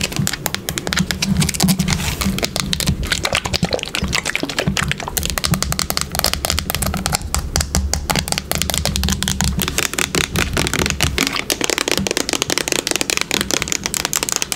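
Long pink nails tap rapidly on the body of a yellow plastic bottle of wood polish held sideways, producing a dense stream of short, bright clicks. A steady low hum runs underneath for most of the clip, dropping out near the end while the quick tapping continues.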